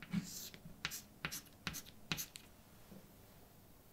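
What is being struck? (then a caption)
Chalk stick on a painted blackboard. A hand writes words with a white chalk stick on a large, flat, dark painted blackboard with a solid surface. Short, bright scratching strokes alternate with sharp, crisp taps as the chalk meets the board. The sound is dry, with almost no ring after each stroke.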